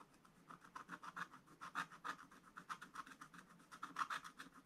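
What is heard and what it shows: A wooden stylus scratches fine lines into a black-coated scratch-art paper page in a spiral book lying flat. About two dozen short, dry, scratchy strokes come in a quick, uneven rhythm, quiet and raspy with a bright edge and little low end.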